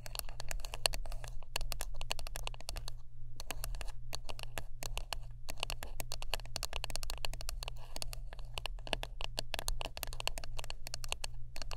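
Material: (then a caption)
Wood. Close-up tapping and scratching on a wooden brush produces a dense stream of rapid, sharp, bright clicks with very short decay, with a few brief pauses. A steady low hum runs underneath throughout.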